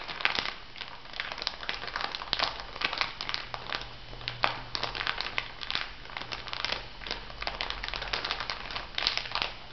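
An elongated clear plastic packet filled with white granules is pressed and rubbed by fingertips and nails, producing a steady stream of bright, close crinkling and crackling. Small sharp snaps pop out now and then over a faint low hum.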